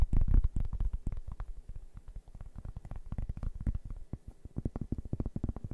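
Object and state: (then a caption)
Cork board. A large, round, flat cork board, solid and thin, is held in both hands and tapped and scratched with fingertips and nails. It gives a quick, uneven run of dull, muffled low thuds with faint scratchy edges, each dying away almost at once. The first taps are the loudest, and the rest settle into a softer, steady patter.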